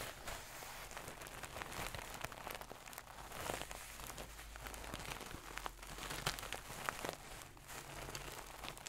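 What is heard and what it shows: Long nails scratch a medium-soft stuffed pillow with a gold satin cover close to the mic. The result is a steady, bright, crinkly rustle with brief sharper scrapes over a constant low hum, staying quiet throughout.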